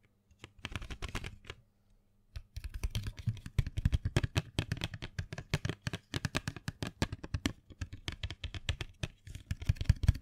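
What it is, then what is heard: Cardboard box of colored pencils. A small printed cardboard box full of colored pencils, held in hand, is tapped and scratched with long fingernails. Quick, dry clicking taps with dull, low-heavy thumps come in a short burst, pause briefly, then continue as a steady rapid patter with faint scratchy brightness.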